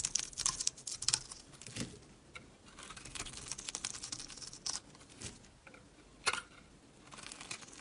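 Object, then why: Bar of soap shaved with a blade. A utility blade shaves curls off the embossed face of a solid, dry square Dalan bar of soap with a red-and-yellow coating, held in the hand. The result is a run of dry, bright scraping and crackling strokes with sharp attacks that stop almost instantly, over faint quiet between cuts.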